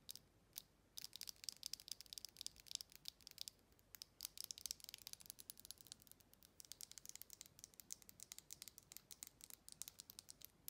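Long red acrylic nails rapidly tap and scratch the textured walls and base of a hollow, hand-sized faceted glass jar with a metal lid. The result is a fast, dense stream of quiet, bright clicks and scratches, with almost no low end and each hit dying away almost instantly.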